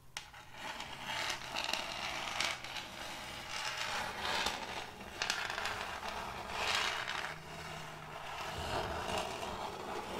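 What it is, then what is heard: End-grain wooden board. Metal fingertip claws rub and rasp over a large, solid, round board of checkered end-grain wood. The result is a continuous bright, scratchy rasping that rises and falls in repeated strokes over a faint low steady hum.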